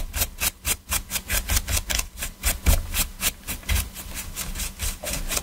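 Gloved hands scrub the surface of a black PS4 controller, with its hollow hard plastic shell lying on a dark mat, using a small stiff detailing brush. Quick, rhythmic bristly scratching strokes repeat steadily, each a short bright rasp over a low hollow thump from the shell.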